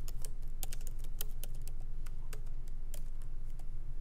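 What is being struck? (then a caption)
Laptop keyboard with plastic keys in aluminum body. Both hands type lightly with their fingertips on the plastic keycaps of a MacBook Pro's aluminum-bodied keyboard, resting on a wooden desk. Quick, short, bright clicky taps patter at an uneven pace over a steady low hum.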